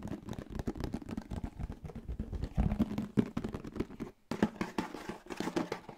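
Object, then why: Plastic food container. A closed, hollow yellow plastic lunchbox-style food container is rapidly tapped and scratched on its lid and sides with fingertips and nails close to a microphone. The result is a fast, dense stream of short, dry plastic taps and scratchy rasps with a hollow low body, broken by one brief pause before the tapping resumes.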